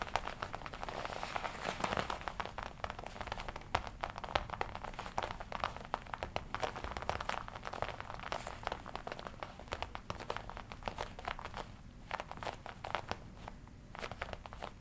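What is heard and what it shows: Fingertips tap and squeeze the black leather chest panel of a worn red-and-black smooth leather jacket. Dense, rapid soft taps mix with crinkling and creaking, centred in the mids with short, dry decay. The quiet, steady patter continues throughout the clip.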